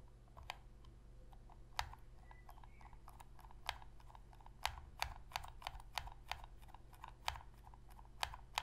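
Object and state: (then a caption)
Plastic game controller tapped with fingernails. Long pink fingernails tap and click the shoulder buttons of a hollow black plastic Sony PS3 controller held on edge. About fifteen short, dry clicks come at an uneven pace, each with a midrange knock and a bright tick that dies away almost instantly. A steady low hum sits underneath throughout.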